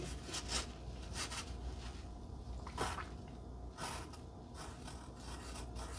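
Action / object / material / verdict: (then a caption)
scrape / paper cardstock heart with wooden pencil / paper / none. A wooden pencil scratches across the surface of a flat pink cardstock heart resting on dark fabric, while a fingertip holds the card in place. The sound is a soft, dry scraping in short bursts with bright, airy edges over a low, steady background hum.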